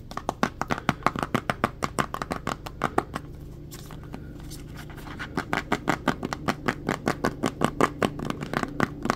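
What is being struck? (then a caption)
Plastic jar with ribbed plastic lid. Fingertips and nails tap and scratch on the blue ribbed plastic lid and sides of a translucent plastic petroleum jelly jar that is full of jelly. About 45 quick, dry, hollow taps come in a fast run, pause for a stretch of softer scratching, then resume at a steady pace. A faint low hum sits underneath throughout.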